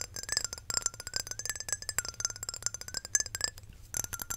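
Long nails tap rapidly on a small square glass perfume bottle with a glass cap, filled with amber perfume and held close to the mic. The taps make quick, bright, high-pitched glassy clinks that stop almost instantly, with a faint tone near 1.5 kHz threading through them.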